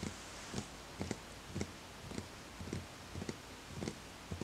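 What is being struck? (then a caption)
Small wooden bowl. Fingertips tap the side of a small, empty, hollow wooden bowl in soft, unevenly spaced knocks. Each tap is short and dull, with a low hollow body and a faint bright click, over a quiet steady background hiss.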